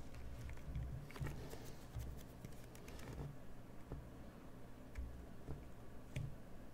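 A craft knife scrapes the inside and the edges of the recess in a hollowed cream bar of soap held in hand. The result is a quiet, low, close-up scratching with short crisp scrapes and faint bright ticks.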